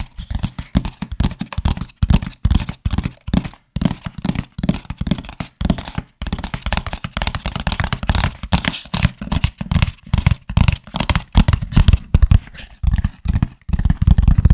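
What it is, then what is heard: Hollow cardboard box. A medium, empty, hollow corrugated cardboard shipping box with a barcode is held by hand over and around the microphone and scratched and tapped with fingertips. The result is a rapid, uneven run of dull, hollow, low thumps with quick decay, broken by soft scratching rustles.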